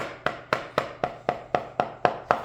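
A hammer strikes a leather insole on a boot last nine times at a steady pace. Each blow lands as a short, solid tap with a midrange tone and almost no ring. The insole sounds solid because it is tight to the last, with no trapped air between them.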